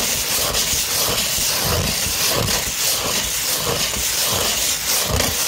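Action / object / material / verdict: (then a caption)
scrape / fine-grit sandpaper sheet / sandpaper / none. Long pointed red-painted nails scratch a thin, flexible sheet of fine tan 240-grit sandpaper held flat and slightly curved. The result is a steady, bright, gritty rasp with a constant hiss, and soft low thumps recur as the nails drag across the sheet.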